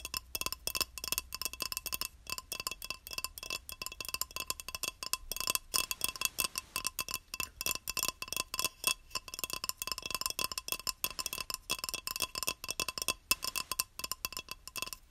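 A small square beige ceramic tile, solid and held upright in both hands, is tapped and scratched across its surface with long nails. A rapid, steady stream of sharp, bright clicks and scratchy ticks plays throughout, each dying away almost instantly with a faint ringing tone around 2.7 kHz and almost no low end.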